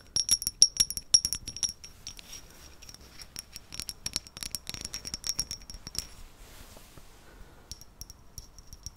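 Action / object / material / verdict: tap / small ceramic vase / ceramic / none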